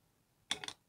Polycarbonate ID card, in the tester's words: medyo may tunog siya eh. Parang malutong siya. Ayun, parang nakita nyo, parang matigas na plastic.